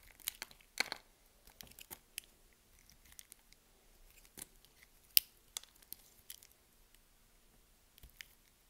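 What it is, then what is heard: Bar of soap being carved. A palm-sized solid green bar of soap is held in the hand while a box-cutter blade carves and scrapes chunks off it. The result is a string of short, dry, bright crunching and scraping cuts separated by quiet pauses, with almost no low end.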